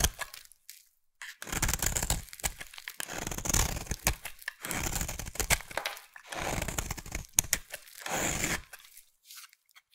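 A yellow, solid, hand-sized bar of soap held in one hand is scraped and carved with a metal utility knife blade over a pile of soap shavings, shaving off crumbly flakes. Bursts of dry, crunchy scraping and crackling alternate with short pauses, each stroke bright and gritty with a crisp, tearing texture.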